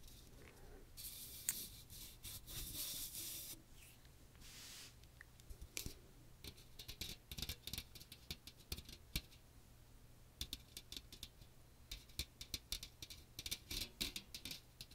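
Fingernails scratch and tap a small metal mesh colander with a plastic rim, a fine metal mesh dome with a teal plastic handle, held over the microphone. Bright, hissing scratches sweep across the mesh in the first few seconds, then give way to rapid, crisp ticking taps that patter on and off, with a faint low hum underneath.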